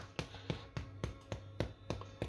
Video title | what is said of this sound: Making Bread Grandad Style | that's got a thud to it